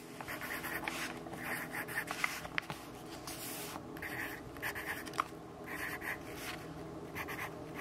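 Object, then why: Graphite pencil on paper notebook page. A yellow wooden graphite pencil writes in steady strokes on an open notebook of white grid paper lying flat on a wooden desk, while the other hand holds the page. Bursts of dry, bright scratching centered around 2 kHz rise and fall with each stroke, broken by a few sharp ticks of the pencil tip over a faint low background hum.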